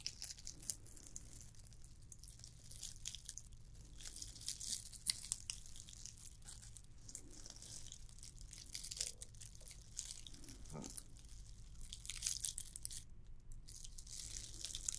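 Long nails scratch the textured surface of a red and white glittered plastic candy cane ornament, producing a continuous, quiet crackly scratching that is bright and hissy up high. A steady low hum sits underneath, and a few slightly louder scrapes stand out along the way.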